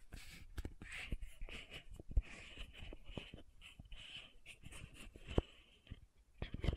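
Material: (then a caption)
Plastic. Long nails rapidly tap the silver-banded metallic cap of a small pink plastic sunscreen bottle held upright. The result is a quick, uneven series of short, dry clicks over a soft, breathy hiss, with a few sharper taps standing out.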